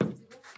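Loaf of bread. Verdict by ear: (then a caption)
Hollow. A freshly baked loaf from a wood-fired oven is knocked on, giving two short, dry, hollow knocks, the first with more low body and the second brighter. The hollow sound shows the bread is properly baked through.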